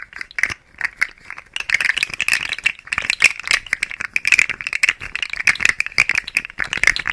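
A hand-sized, rainbow-colored plastic fidget slug toy with hollow interlocking segments is held in the fingers and flexed and shaken beside the mic. Its segments rattle and click in a dense, rapid, dry clatter that is bright and thin, centered around 2.4 kHz with no low end. The clicks stop instantly, with no ring.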